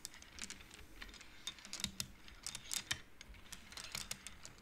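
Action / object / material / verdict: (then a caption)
knock / wooden abacus beads / wood / none. Fingertips and nails push the painted wooden beads along an upright wooden-frame abacus so they knock together. A quick, irregular run of short, dry, bright clicks, each dying away almost at once over a faint background hiss.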